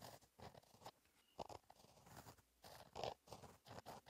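A gel pen tip scratches cursive writing across a flat black lined paper notebook page, staying on the same page throughout. Quiet, dry scratchy strokes come in short bursts separated by brief pauses, centered in the midrange with some brighter hiss on the firmer strokes.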